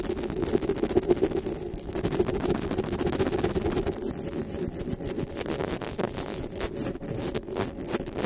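Long pink nails tap and scratch the top of a black desktop microphone's metal mesh grille. The result is a dense, irregular stream of quick clicks and scratchy rasps over a steady low-mid hum around 350 Hz.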